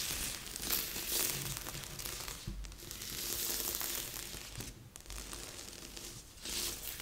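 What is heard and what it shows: Flat palms and fingertips rub and scratch across a large assembled cardboard jigsaw puzzle lying flat on a board. The result is a steady, dry, bright rustle and scratch that swells and eases as the hands sweep over the pieces, with a faint low rumble underneath.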